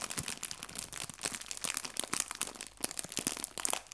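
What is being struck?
Thin clear plastic bag filled with fabric leaves.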